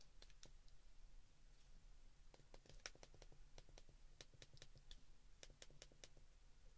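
Fingertips press the keys of a white plastic flip phone keypad, producing a quick run of short, bright, distinct clicks at an irregular pace. A steady low hum sits underneath throughout.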